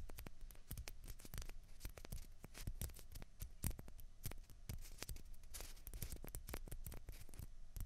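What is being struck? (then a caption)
Plastic ping pong balls. Two small, hollow, white plastic ping pong balls, one held in each hand, are scratched and rubbed with fingernails. The result is a quiet, dense stream of quick, dry clicks and scratches that snap brightly across the range over a low, steady rumble.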